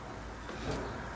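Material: Nothing is struck.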